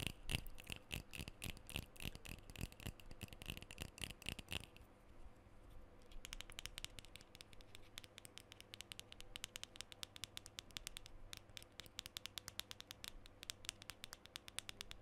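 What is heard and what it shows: Fingernails scratch and tap near the top and along the side of a black metal aerosol deodorant can with a printed label. Quick, dry taps with a faint bright metallic ring fill the first few seconds, then give way to a softer scratching stretch. Rapid, crisp clicking taps then resume and continue to the end.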